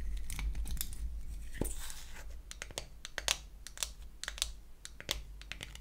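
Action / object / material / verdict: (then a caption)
tap / small painted wooden toy eyeshadow case / wood / none. A small pink-painted wooden toy eyeshadow case is opened and then closed while long acrylic nails tap and scratch its wells, back and lid. A steady, soft scratchy rasp gives way to irregular, sharp, bright wooden clicks and taps that stop quickly, over a faint low hum.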